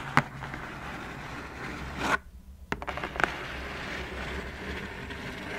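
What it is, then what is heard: Cardboard shoebox. Long fingernails of both hands tap and scratch the lid of a closed black cardboard shoebox. Sharp clicking taps stand out over a steady, soft scratching hiss. The scratching drops out briefly near the middle before resuming.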